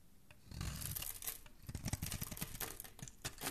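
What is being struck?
Soap bar shaved with a metal blade.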